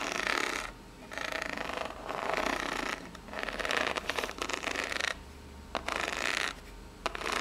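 Long nails scratch and tap the ribbed face of a small, hollow brown corrugated cardboard box held in the hands. Bursts of dry, bright rasping scratches alternate with short quiet gaps, and a few sharp, crisp taps stand out between them.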